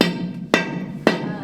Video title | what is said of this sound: Old Hundred Gold Mine - Colorado Adventures - ROA Off-Road (2022) | hollowness in there guys that means there's fractures back there